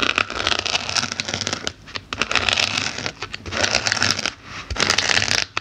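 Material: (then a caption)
Polyethylene foam. The tips of small metal snips, held in fingers with black nails, repeatedly poke and stab into the surface of a solid white layered polyethylene foam block with a pumpkin drawn on it. Dense bursts of bright, crackly, scratchy squeaks centered around 2.5 kHz come in clusters separated by brief quiet gaps, with little low end and almost no ring after each stab.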